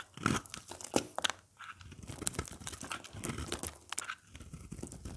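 A craft blade carves and scrapes crumbly chunks off the edge of a dry, hard, oval beige soap bar with embossed lettering, held in the hand. The sound is a run of dry, crunchy scrapes and crumbling crackles with sharp, bright snaps that die away almost at once.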